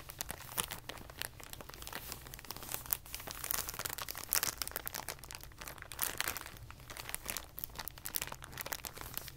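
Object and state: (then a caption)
Clear plastic packaging bag being crinkled. A clear plastic packaging bag, rolled into a tube, is squeezed and twisted with the fingers, giving a continuous bright, crisp crinkling and crackling with frequent sharp snaps. A faint steady low hum sits underneath.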